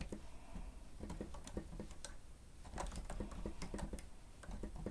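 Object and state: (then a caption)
Plastic stenotype keyboard. Fingertips of both hands press and tap the keys of a grey plastic stenotype keyboard with a hollow housing. The result is a quiet, uneven patter of soft, short, hollow clicks with a low-mid body, easing briefly in the middle before picking up again.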